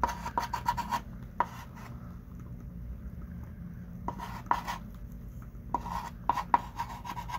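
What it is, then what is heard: Chalk writing on a chalkboard. A hand writes with a thick pink chalk stick on a small wooden-framed chalkboard lying flat. Quick bursts of dry, scratchy strokes and sharp little taps come in clusters at the start, middle and end, with a quiet pause between them. A soft low background hum runs throughout.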